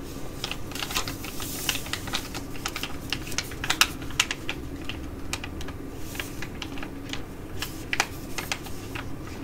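Long nails crinkle and scratch a filled, green foil-laminate Korean sheet mask pouch, turned over to show its back and front. The result is a quick, irregular run of sharp, bright crackles and ticks over a steady low hum.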